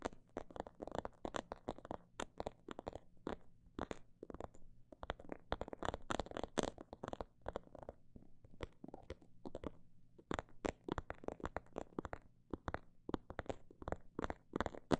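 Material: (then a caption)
Faux leather. Long black nails tap and scratch a faux snakeskin-print leather cosmetic bag held upright. Quiet, dry, muffled taps come in dense, uneven runs that speed up and slow down, with occasional soft scratching between them. Each tap dies away almost instantly, and the sound stays in the low and middle range with little brightness.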